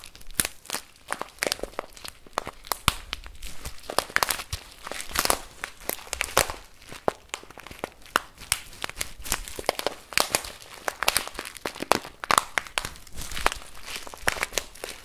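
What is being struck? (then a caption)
Plastic bag of rice. A full plastic bag of rice is tilted, shaken and squeezed with the hand and fingers. Dense, bright crinkling and crunching bursts come from the plastic, with shifting grains rustling steadily in between.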